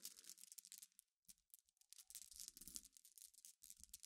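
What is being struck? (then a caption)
Glass pebbles raked by fingernails. Long nails rake and scratch across a pile of solid, clear, flat glass gems resting on black fabric. The result is a quiet, bright, dense clicking and scraping clatter with almost no low end, pausing briefly around 1.1 seconds and again near 3.5 seconds before resuming.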